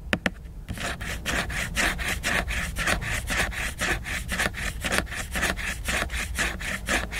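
Fingertips tap and then scratch back and forth across the glossy printed, laminated cover of a solid hardcover book. Two sharp taps open the clip, followed by a steady stream of rasping scratch strokes at roughly two per second, each a bright, broadband swish with almost no ring.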